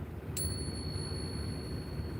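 A silver Peace dollar, bought at about melt value, is pinged once. It gives a sharp strike and a clear, sustained high ring that lasts over a second over low background rumble, and the ping test shows the coin is real silver.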